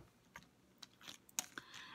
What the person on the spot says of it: so you can hear when you're shaking it and it works pretty well